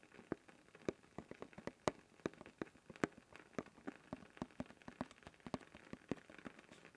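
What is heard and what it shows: Fingertips tap and scratch continuously on the blue plastic lid of a closed, labeled cylindrical canister held upright. The result is a quiet, rapid run of sharp, dry clicks, with brief bright ticks over a soft scratching texture and no ring.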